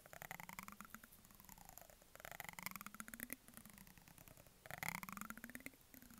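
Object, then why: Plastic cosmetic jar with plastic lid. A textured metallic brush handle is scratched along the edge of the green plastic lid on a medium white plastic jar, making rapid ticking clicks. The clicks come in three longer strokes, each with a rising or falling squeaky tone and a bright rasp, separated by quieter scratching.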